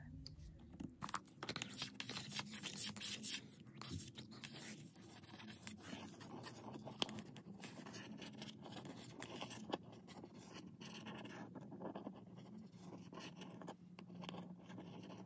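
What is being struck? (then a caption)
Cardboard box. A white printed Darling Lamp cardboard box is tapped and scratched with a long nail. Quick, dry taps mix with rustling, scratchy scraping across the cardboard, and the sounds die off almost instantly. A few sharper clicks stand out near the middle of the clip.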